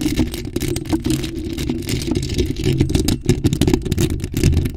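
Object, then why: Metal mesh microphone grille. Long acrylic nails scratch a bare, hollow black metal mesh microphone grille held in both hands. The result is a dense, continuous scratching and rustling with a heavy low-frequency rumble and crackly bursts across the clip.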